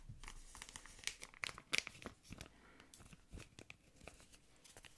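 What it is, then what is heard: Crinkled plastic wrapper. A thin, yellow patterned plastic ice cream wrapper is crinkled and scratched with fingernails. It gives a rapid, irregular series of bright, crackly snaps and rustles, mostly high-pitched with little low end. Each crackle cuts off almost instantly.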